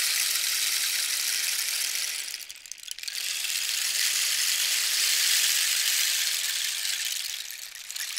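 A long hollow rain stick, about 60 cm, made from a dried cactus skeleton with a red band and yellow cords and likely filled with small pebbles or seeds, is held in both hands and slowly tilted. Its filling trickles and rattles inside as a steady, bright, hissing patter with almost no low end. The sound dips briefly near the 2.5-second mark when the stick is turned, then swells again before easing near the end.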